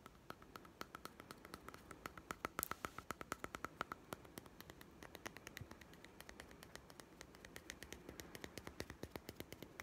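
A small hollow plastic toy food tin with a printed blue label is held in the hand and tapped rapidly with fingertips and nails. The result is a quiet, steady stream of sharp, dry clicks with bright, high edges and almost no ring after each tap, plus a faint steady tone partway through.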